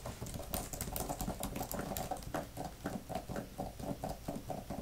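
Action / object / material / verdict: tap / plastic laptop keyboard cover / plastic / none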